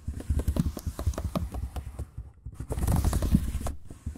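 Fingertips tap quickly and unevenly on the plastic chiclet keys of a silver laptop keyboard. The taps are short, dull, and soft, with a brief pause in the middle before the tapping resumes.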